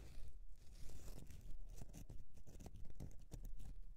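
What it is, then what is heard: Bar of soap. Long nails scratch the side of a solid bar of soap standing on edge, making dry, crunchy scraping strokes. The strokes repeat in a fairly steady rhythm, with a soft low rumble and brief bright, gritty edges.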